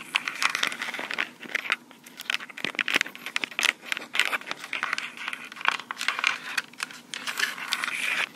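Long pink acrylic nails on both hands quickly scratch and tap the body and mic heads of a small black plastic Tascam recorder. The result is a dense, fast stream of crisp clicks and scratchy, crinkling crackle, bright and thin with almost no low end, each tap dying away almost instantly.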